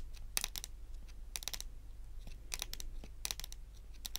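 Very long, pointed acrylic nails tap and click on a solid, dark wood-grain tabletop. Quick bursts of sharp, bright clicks with almost no ring sit over a steady, low hum.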